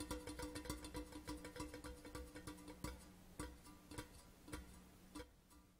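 Fingertips and nails of both hands tap fast on a hollow grey metal whisky tube lying on its side on a cloth. Rapid, uneven taps each give a short, pitched metallic ping over a low resonance, with bright clicks from the nails. The tapping thins out and softens toward the end.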